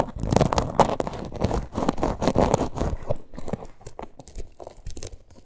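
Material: Faux leather.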